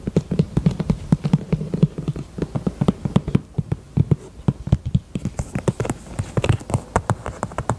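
Long nails tap rapidly across the front and side of a small, hollow, heart-shaped pink faux leather purse. Each tap is a short, dull, low thud with almost no ring, and the taps come in a quick, steady run. Toward the end, some taps have a slightly brighter click.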